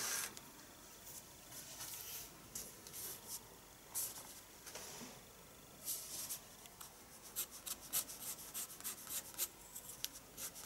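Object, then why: Pencil on paper sketchbook page. A pencil draws strokes on a paper page of a spiral sketchbook. Quiet, bright, scratchy rasps come in short bursts, sparse at first and then quicker and more clipped toward the end. There is almost no low rumble.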